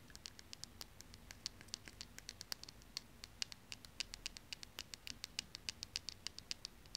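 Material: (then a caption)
Plastic. Long painted nails scratch and tap along a small, slim pink plastic lip gloss tube held in the fingers. About 48 quick, bright, dry ticks with no ring follow one another in a fast, uneven patter over a soft scratchy hiss and a low, steady background hum.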